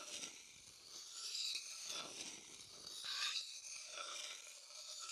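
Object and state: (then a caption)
Wooden bowl scraped with a stick. A wooden stick stirs and scrapes around the inside of an empty, light-colored hollow wooden bowl held in the hand. The scraping is dry, bright and rasping with almost no low end, rising into two louder swells before easing back into a steady scratch.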